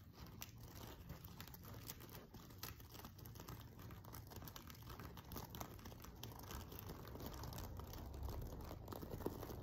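Fingernails scratch and flick the sequin rows at the far edge of a silver sequin-covered fabric pillow. The result is a quiet, steady stream of dense crinkling and soft clicking taps that runs unbroken through the clip and grows slightly louder toward the end.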